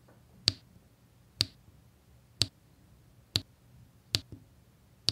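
A pink drill pen with a metal tip places and taps beige square resin diamond-painting drills onto a flat, sticky adhesive canvas. Six sharp, high, bright clicks sound at uneven intervals, each dying away almost instantly over a faint low hum.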